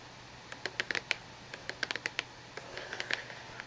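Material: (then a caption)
Cardboard. Long nails and fingertips tap on the top and edges of a small, hollow cube-shaped cardboard tissue box with a glossy printed surface and tissues inside. The result is a series of short, dry, bright clicks with almost no ring, spread unevenly across the clip over a faint steady hiss.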